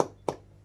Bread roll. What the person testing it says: if they've baked well, you should flick them and get a... hollow sound